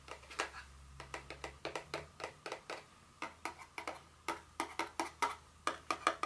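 Long nails tap and scratch the sides and top of a small, hollow, blue cube-shaped printed paperboard Dior fragrance box with a white bird design, standing on a stone surface. A rapid series of short, dry, clicky taps with a hollow, papery tone and bright edges dies away almost instantly between strikes, over a faint low hum.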